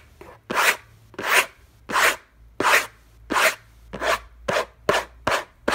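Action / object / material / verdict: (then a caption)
scrape / cardboard box lid / cardboard / none. Fingertips and nails scratch around the logo on the hollow, orange textured-paper lid of a cardboard gift box. There are about ten quick, rough, bright rasping strokes in a fairly steady rhythm, each a short dry swell of noise that stops almost at once with no ring.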